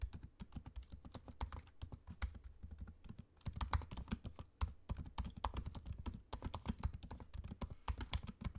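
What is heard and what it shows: Fingertips type quickly on a MacBook-style laptop keyboard with low-profile plastic keycaps set in a space-grey aluminium body. The result is a steady run of soft, dull, short taps, mostly low thuds with faint bright clicks, and brief lulls around three and four and a half seconds.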